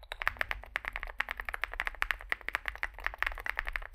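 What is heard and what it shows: Fingertips type continuously on a small 65% Zoom65 mechanical keyboard with a dark case and white and grey plastic keycaps. A rapid, uneven stream of short, sharp clacks sits in the mid range and adds bright edges. Each keystroke stops almost instantly over a faint low rumble.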